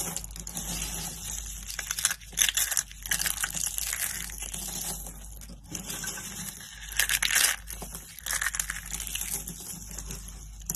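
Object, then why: Soap flakes. A hand with long pink-painted nails scoops up and crushes a pile of dry, brittle soap flakes and curls in pink, green, orange and purple between its fingers on a woven mat. The result is a steady, bright, dry crackling and crunching, with louder crumbling bursts near 2.5, 7 and 8.5 seconds and little low end.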